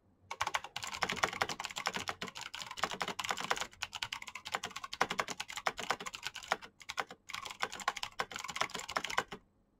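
Both hands type fast with their fingertips on a black plastic backlit mechanical keyboard with clicky switches. Rapid bursts of sharp, bright clicks with almost no low end are broken by brief pauses. Each keystroke dies away almost instantly.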